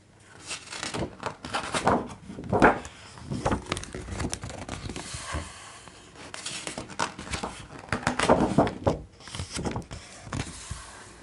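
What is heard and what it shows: Fingertips with short nails rub and trace over the thick, glossy coated pages of a large open hardcover art book with a solid stack of pages, and turn the pages. Soft paper rustling and brushing fill the clip, broken by louder swishing page flips near 2.5 and 8.5 seconds.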